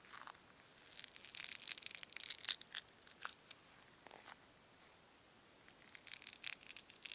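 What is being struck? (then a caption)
Small foam cubes. Two small solid white foam cubes are squeezed hard and rubbed together under long nails, compressing the foam. The result is a quiet, bright string of crinkly squeaks and scratchy bursts, with a short lull partway through before the rubbing picks up again.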